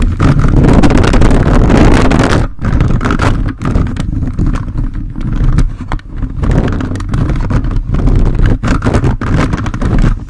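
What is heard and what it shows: The grey plastic fingers of a handheld toy robot grabber hand rapidly scratch and rub the hollow, dark metal mesh grille of a large red-bodied USB microphone. The result is a dense, boomy, low-heavy scraping rumble with a fast, uneven rhythm and brief drops in level between bursts.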